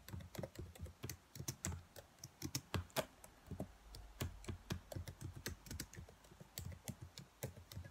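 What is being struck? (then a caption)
Plastic laptop keyboard keys. Long nails tap and press the black plastic keys of a dark laptop keyboard, making about 33 quick, dry clicks over eight seconds. Each click has a low, soft thump with a bright tick on top and dies away almost instantly. The taps come in an uneven, steady flow.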